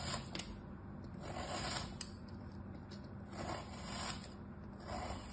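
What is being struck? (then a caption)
Molded kinetic sand shape. A hand with orange nails slices a small knife blade through a molded crab shape of solid kinetic sand resting on a striped cloth. The cut produces quiet, gritty rasping and scraping in slow swells, with a few bright ticks as the blade catches the grains.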